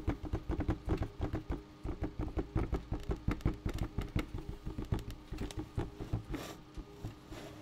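A bucket is tapped in a quick, uneven run of short, dull knocks that keep going throughout. Each tap is low and thumpy with a brief resonant body and almost no bright edge, dying away almost at once.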